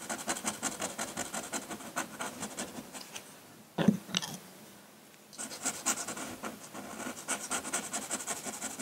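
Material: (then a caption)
Paper. A metal pen nib in a wooden holder scratches ink strokes across a flat sheet of drawing paper near the rock area of a drawing, making quick, dry, bright scratching strokes. Just before four seconds there is a sharper, louder scrape, followed by a near-silent pause. Then the rapid scratching resumes and continues to the end.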